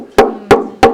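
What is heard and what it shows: Three taps on an unfinished wooden violin body, being built on site for a museum, each giving a short hollow knock with a woody tone around 410 Hz. Each knock dies away within about a tenth of a second, with a faint low hum between the taps.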